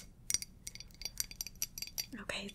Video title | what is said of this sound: ASMR Follow My Instructions BUT YOU CAN CLOSE YOUR EYES 😳 EYES CLOSED CHALLENGE 🔥 Focus on Me | it's glass. Tapping and scratching on glass. It's a glass mug.